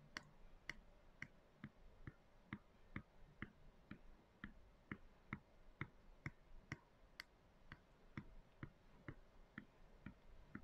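Long decorated acrylic nails tap the wall of a medium clear plastic canister with a white lid, lying on its side and full of dry soy chunks. About 23 sharp, dry clicks come at an uneven, fairly quick pace, each with a bright tick near 2 kHz and a low thump beneath. Every click dies away almost at once.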